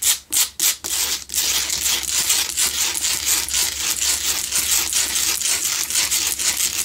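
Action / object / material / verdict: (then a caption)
scrape / rock salt candle holder / rock salt / none. Long nails scratch the sides and front of a lit, solid pink Himalayan salt block double candle holder. A few separate rasping strokes open into fast, steady scratching that is dry, gritty and very bright, over a faint low hum.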